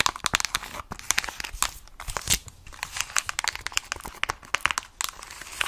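Long acrylic nails tap and scratch a mint plastic protective case with stickers on a hand-held, hollow Nintendo Switch Lite. Rapid, bright, clicky taps with dry, crinkly scratching between them produce a busy stream of short, sharp plastic clicks with almost no low end.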